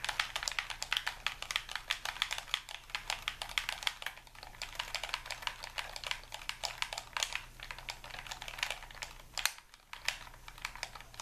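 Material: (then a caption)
Plastic. A white, hollow, hand-sized Xbox-style plastic game controller is held in both hands while thumbs and fingers rapidly tap its buttons and sticks. The result is a dense, steady stream of sharp, bright, clicky presses with almost no ring, over a faint low hum, with a brief lull near the end before the clicking resumes.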